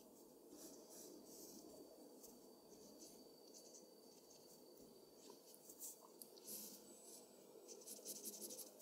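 A mechanical pencil tip scratches across a flat white sheet of drawing paper in quick, repeated hatching strokes while shading a machine body. The result is a quiet, steady, dry scratching rasp with bright, high-pitched bursts on each stroke, growing slightly louder and more pronounced toward the end.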